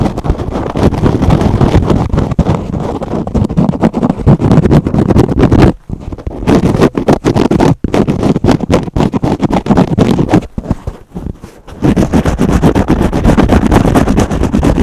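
A foam kitchen sponge with a green scrub pad, held in both hands, is scratched quickly with fingernails across both its foam and scrub surfaces. The result is a dense, continuous rasping crackle weighted toward the low end, broken by short pauses near 6 and 8 seconds and a quieter stretch around 11 seconds before the fast scratching resumes.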